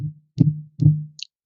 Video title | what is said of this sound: Don't be a Tire Thumper! | makes the same noise all the way around